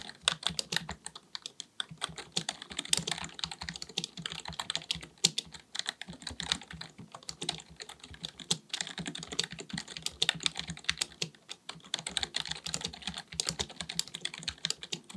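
Fingertips of both hands type rapidly on a black full-size plastic computer keyboard resting on a desk. A steady stream of quick, bright key taps and clicks fills the clip, each one short and dry with little low end, with some taps louder than others.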